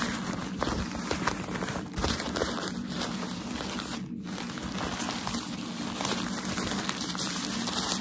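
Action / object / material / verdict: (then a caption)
scrape / tissue paper sheet / paper / none. A loose, crumpled white sheet of tissue packaging paper is handled with the fingers. It gives a steady, dense crinkling and rustling across the whole clip, with a brief dip just after the middle.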